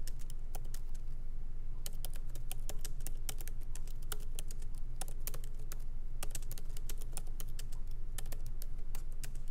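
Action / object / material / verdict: tap / laptop keyboard, plastic keys in aluminum body / plastic / none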